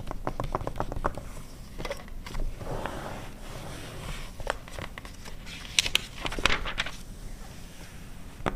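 An open 2009 glossy paper car magazine lies flat while long red nails scratch and rub its printed pages with both hands, with pages turned in between. Quick dry ticks and clicks open the clip, then soft papery rustles and scrapes follow with a few sharper bright crackles of paper.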